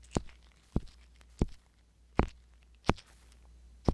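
A wooden-handled metal ear pick scratches inside the ear canal of a soft silicone ear mounted on a hollow white binaural microphone body. Six short, dry scraping strokes are heard, each with a brief bright edge, over a steady low hum.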